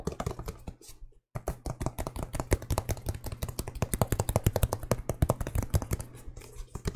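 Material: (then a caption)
Leather, rubber. An empty, hollow white and mint sneaker with a leather upper and rubber sole is held up close in both hands and tapped and scratched with fingertips and nails along the upper and sole. Rapid, dry clicking taps with a dull low thump come in a dense, irregular stream, each dying away almost instantly. There is a brief silent gap near the one-second mark before the tapping resumes.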